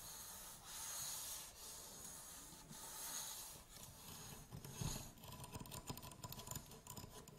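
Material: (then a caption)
Aluminium. Fingernails scratch and rub along the legs of an upright aluminium tripod, making long, bright, hissy strokes that swell and fade. Toward the end they move to the tripod's plastic head handle, where the scratching turns into quicker, choppier rasps and light ticks.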